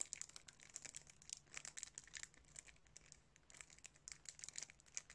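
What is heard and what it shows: Fingertips crinkle and rub the clear cellophane wrap across the front of a sealed DVD case. Quick, dense bursts of bright, crisp crackling come in uneven clusters with very little low end, pausing briefly around the three-second mark before resuming.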